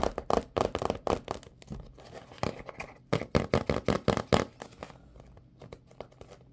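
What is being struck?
Printed cardboard box of latex gloves.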